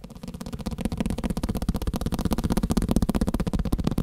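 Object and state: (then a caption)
Paper block tapped. A block of paper is tapped rapidly and steadily, producing a fast stream of dull, muffled thuds. Each tap dies away almost instantly, with most energy low and a soft tone around 220 Hz. The taps grow slightly louder over the clip.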